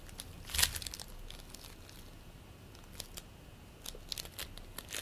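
Fingertips squeeze, pull apart and knead a fist-sized ball of soft green play foam, made of tiny polystyrene beads in a sticky binder. This produces bright, short crackling and crinkling bursts that are loudest just after the start, quieter through the middle, and pick up again toward the end.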